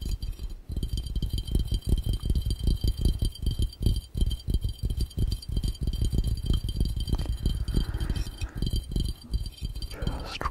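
Fingertips of both hands tap fast on an empty, clear, round, hollow glass fishbowl. The result is a steady, slightly uneven stream of rapid, dull, low thumps with very short decay and almost no bright ring, continuing for the whole clip.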